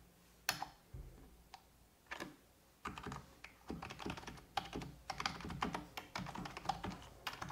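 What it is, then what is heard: Plastic computer keyboard. A full-size black plastic computer keyboard on a wooden desk is typed on with fingertips and long red-painted nails. A few sparse, sharp clicks give way to rapid, irregular bursts of key tapping. Each tap is short and bright, with a light low thud.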